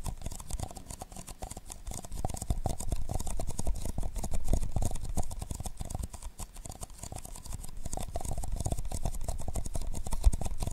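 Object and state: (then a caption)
Paper cups tapped and rubbed. Fingertips steadily tap and rub the sides of two identical hollow, empty paper cups, black outside and white inside, held cupped around a microphone in close-up. The result is a dense, rapid stream of soft, muffled thumps with a deep, boomy low end and a faint bright rustle over the top.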